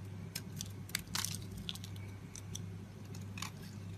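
A small metal blade scrapes and shaves the surface of a solid oval pale green bar of soap held in a hand with painted nails, its paper box nearby. Short, crisp, bright crunching scrapes come in irregular bursts over a steady low hum.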